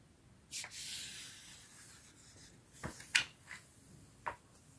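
Fingertips with dark-painted nails rub and smooth across the right page of a large hardcover storybook with thick paper pages, lying open flat on a striped cloth. A soft, bright papery sweep rises and slowly fades, followed by several short, crisp brushes and scratches over quiet background hiss.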